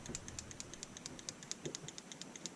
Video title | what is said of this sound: AR Safety - Failure to Fire, Type 1 and Type 4 Malfunction | you can hear that firing pin moving pretty freely in here